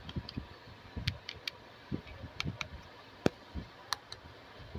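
A small, hollow, hand-sized pink hard plastic toy camera is held in both hands, turned, and tapped and clicked with long blue-painted nails. About ten short, dry clicks and taps sound at an uneven pace, some with a soft low thud and others with a bright tick. Each stops instantly against a quiet background.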